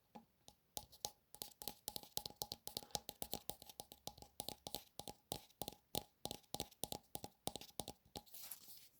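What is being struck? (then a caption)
Vinyl toy figure, cape collar. Fingers tap on the collar of the cape of a vinyl Funko Pop collectible figure of a Marvel character. About four dozen quick, dry, hollow-sounding taps come in a steady, rapid run, each with a bright click and a faint tone near 820 Hz that dies away almost instantly. The clip ends with a softer, brushing patch of sound.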